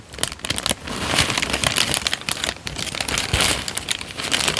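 A thin peach paper sheet, already crumpled and wrinkled, is bent, folded and crinkled by both hands with the fingertips. It makes a dense, continuous, bright crinkling with sharp crackles and a light low rustle underneath, steady with no pauses.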